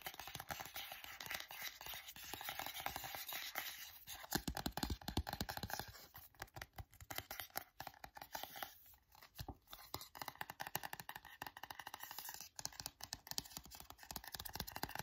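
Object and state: Paperback book with paper cover.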